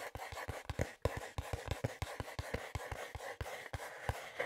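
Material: Cardboard.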